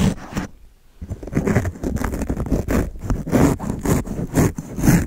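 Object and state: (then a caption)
Foam microphone windscreen scratched with a razor blade. A fingertip holds a single steel double-edge razor blade and scratches and slices its edge across a black, fist-sized, hollow open-cell foam microphone windscreen, already partly slashed, right at the mic. Close, low-heavy rough scraping and crackly slicing strokes repeat in quick bursts after a brief quiet pause near the start.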